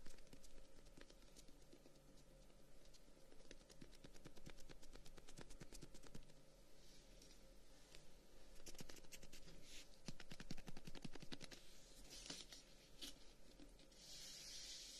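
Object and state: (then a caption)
Closed wooden folding fan. Fingertips and short nails tap and scratch along the sticks of a closed folding fan, about 25 cm long, with brown wooden guards and a white pleated edge, held as a solid bundle. The result is a quiet, uneven stream of short, dry clicks and brushing scratches that fade almost instantly, with bright hissy scraping toward the end over a steady low hum.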